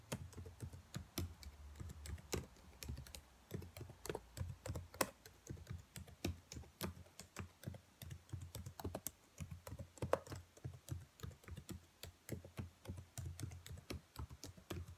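Long nails and fingertips tap across the keys of a black plastic laptop keyboard in a steady, rapid stream. Each tap is a short, dry click with a soft low thud beneath it and bright clacks mixed in, dying away almost instantly.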